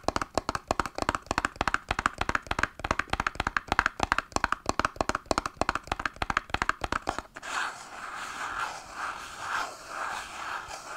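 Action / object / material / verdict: tap / small printed cardboard box / cardboard / none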